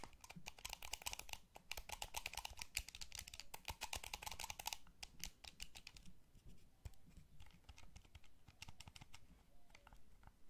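Thumbs press the sticks and fingertips tap the buttons of a small, hollow, blue wired plastic gamepad. Rapid, dense, bright plastic clicking and clattering fills the first five seconds, then thins into sparser, separate taps and clicks, each dying away almost instantly.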